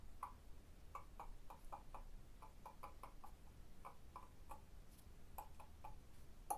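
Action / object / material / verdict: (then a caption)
tap / limestone block wall / limestone / none. Long blue fingernails tap on the solid surface of a limestone block wall, giving a quick series of short, dry clicks centered around 820 Hz with a faint bright edge. The taps come in an uneven rhythm, each dying away almost instantly over a low background hum, with a slightly stronger tap near the end.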